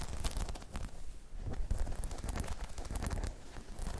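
Long chrome nails scratch and tap across a hollow, dome-shaped spiky rubber balance pod. The result is a dense, steady stream of soft, muffled low thuds and rustly scratching, dotted with brief bright clicks that die away almost instantly.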